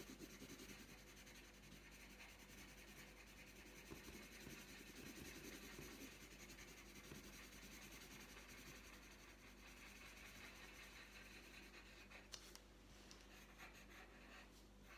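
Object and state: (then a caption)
Pencil shading on a paper sheet. The tip of a green wooden coloured pencil rubs across a thin, flat printed paper colouring sheet lying on a tabletop, making short shading strokes. A soft, steady, bright scratchy hiss continues throughout, with a faint low hum beneath and an occasional small tick.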